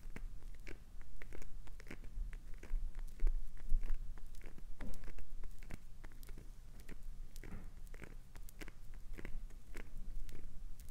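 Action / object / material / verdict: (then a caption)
scrape / glycerin soap bar / glycerin soap / none. Long acrylic nails scratch rapidly across the face of a solid, translucent green glycerin soap bar held in one hand, raising shavings. The result is a quick, irregular run of soft, crisp scratching strokes with short, dry attacks that die away almost instantly, over a steady low hum.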